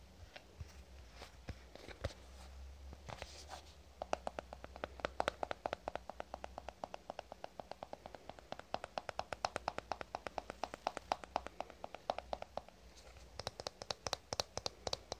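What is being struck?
Plastic cosmetic squeeze tube.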